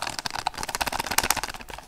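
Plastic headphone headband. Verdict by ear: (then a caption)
Cheap. A Redragon gaming headset's headband is handled and flexed, giving off a rapid series of light, hollow plastic clicks and creaks. The sound is mostly mid-to-high frequency and has little low-end weight. The headset sounds like cheap plastic.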